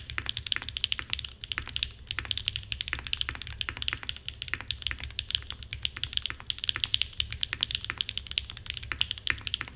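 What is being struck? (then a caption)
Mechanical keyboard with aluminum case and plastic keycaps. Fingertips type continuously on a small 60% mechanical keyboard with a red aluminum case and black plastic keycaps, resting on a desk mat. The result is a steady stream of short, bright clacks centered around 3 kHz that die away almost instantly, over a faint low hum.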